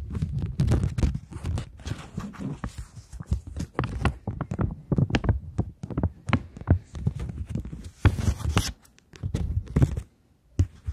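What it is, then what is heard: Polymer banknote. Long nails scratch and tap a polymer plastic £20 note while it is held flat and bent. A dense run of quick, crisp crinkles and clicks with a soft low thump beneath them and bright rasping edges. The sounds go nearly silent just before the end, then a final tap.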